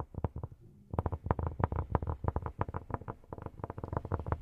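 Cork is tapped with silicone rubber pads on the fingertips, making a rapid, irregular run of about two dozen soft, dull thumps. The taps are low and muffled with almost no ring, with a short pause near the start before the tapping picks up again and continues steadily.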